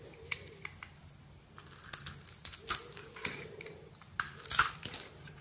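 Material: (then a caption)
Soap. An oval solid soap bar with a dark brown surface, pink veins and a pink interior is held in the palm while a metal blade shaves off its outer layer. Quiet, crisp scraping and cutting strokes crackle with bright, papery bursts over a faint low hum, with the loudest shaves near the end.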